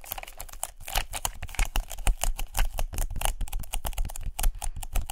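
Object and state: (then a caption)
Paper lint roller. Long nails tap fast on a white paper lint roller held horizontally by its black handle, making a rapid, uneven stream of sharp, dry clicks. Each tap dies away almost instantly over a soft, papery rustle.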